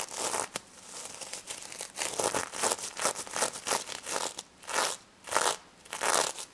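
Long red nails scratch and flip the sequins on a small stuffed pink sequin-covered plush pig toy held in the hands. The result is a run of bright, dry scratchy rasps and crinkly clicks in uneven bursts, with louder sweeping swells toward the end.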